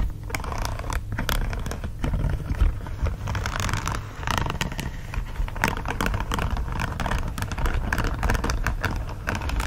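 A green silicone dish glove lies folded with its smooth back side up while fingertips scratch and tap across the smooth silicone surface. Soft, dense scratching runs continuously, broken by quick dull taps and bright scraping streaks over a low rumbling base.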